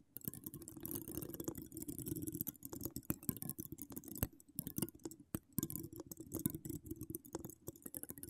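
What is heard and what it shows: Long decorated acrylic nails scratch across a hollow woven metal mesh microphone grille, producing a dense run of quick, dry scratches and clicks. The sound is close and soft, with a low rumbling body and bright scratchy edges, coming in irregular bursts with brief pauses.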